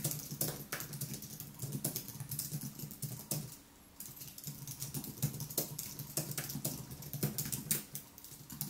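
Fingertips type continuously on the white plastic keys of a thin aluminium wireless keyboard, producing quick, soft clicks and taps with bright, crisp edges. A brief pause comes around the middle before the typing resumes, with a steady low hum underneath throughout.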